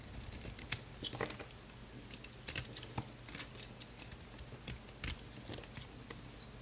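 A utility knife blade scrapes thin crunchy flakes off the face of a small, solid, oval pink Lux bar soap held in one hand, with some silver foil wrapper still on one edge. Quick, dry, bright scratching and crackling bursts repeat over a low background, and the loose flakes pile up on the marble below.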